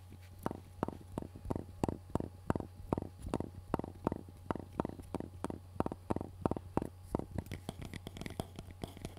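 A black hard-plastic electronic shooting earmuff cup, hollow and held against the microphone, is tapped and scratched with fingertips and nails. The result is a rapid, steady run of short, dull, hollow knocks with quick soft scratches between them, set over a constant low hum.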